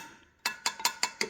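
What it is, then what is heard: Tight motorcycle wheel spoke. Steel wire spokes on a Harley-Davidson Sportster Bobber motorcycle wheel are tapped with a screwdriver handle to check their tension. Five short, bright metallic pings ring out near 950 Hz and fade quickly. The spokes sound clear and tight, as they should.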